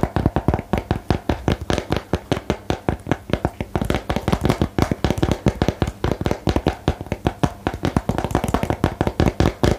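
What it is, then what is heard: Cardboard box tapped with fingernails. Fingernails tap rapidly and steadily on a small printed "Geheimakte" cardboard game box held close to the mic, about 57 taps in all. Each tap is a dull, hollow, low-heavy knock with almost no ring, and the taps run in a quick, uneven rhythm.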